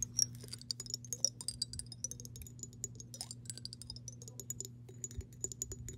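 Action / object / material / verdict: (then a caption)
tap / glass mason jar with water / glass / none. Long pink acrylic nails tap and scratch the side of a clear, hollow glass mason jar that is partly filled with water and held in hand and tilted. The result is a quiet, rapid patter of short, bright clicks with brief high glassy pings that die away almost at once. A steady low hum runs underneath throughout.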